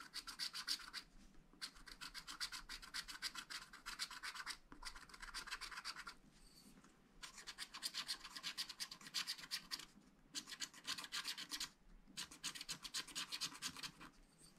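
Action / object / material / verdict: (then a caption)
scrape / wax-coated scratch-art paper pad scraped with a wooden stylus / coated paper / none. A wooden stylus held in the fingers scratches lines into the black wax coating of a spiral-bound scratch-art pad, lying flat on a table, that covers a colorful flower picture. Quiet, bright, scratchy strokes come rapidly, about four a second, in bursts of a second or more separated by brief pauses.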